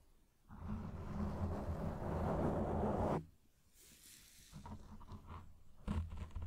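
A black, fist-sized foam windscreen of soft, porous foam over a microphone on a stand is scratched and rubbed with the fingertips and short nails of both hands. A loud, close, muffled scratching roar with heavy low rumble runs steadily for about three seconds, then cuts to near silence. Softer rubbing follows, ending in a few sharper scratchy bursts.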